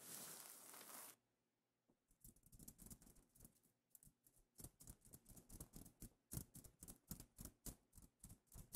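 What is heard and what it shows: Long painted nails scratch and tap across a flat fabric pillow cover covered in iridescent reversible plastic sequins. A second of steady bright, hissy scraping gives way to a brief pause, then a quick run of crisp, rattling sequin taps and flicks. The taps have little ring and a soft low thump beneath them.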